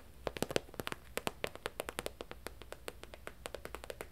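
A medium, flat holographic vinyl travel pouch with a zip, held up in the air, is tapped and scratched with long nails. About thirty quick, dry taps land in an irregular rhythm, each a short crisp click with a hollow plastic tone around 480 Hz and bright clicky tops. A faint steady hiss runs underneath.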